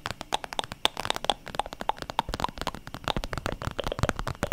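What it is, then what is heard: Holographic vinyl makeup bag. Long nails tap and scratch rapidly on a flexible, iridescent holographic vinyl zip makeup pouch with some contents inside, held close to the mic. The result is a dense stream of quick, dry crinkly clicks and scratches, with brief ringing pings around 800 Hz and bright crackle on top.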